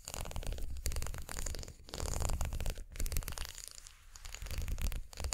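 A twisted plastic unicorn-horn makeup brush handle, about 15 cm long, is held in both hands and scratched along its ridged spiral with long nails. It makes dense, rapid rasping clicks in several bursts with brief dips between them, full of low rumbling body and a faint bright edge.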